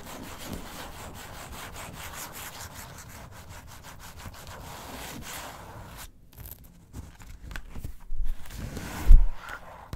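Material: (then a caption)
Glossy paper. Long acrylic nails scratch and rub the cover of a thin glossy recipe magazine lying flat on a table, making a steady dry, papery rasp. The scratching breaks off into sparser scrapes and a louder thump near the end as the magazine is opened.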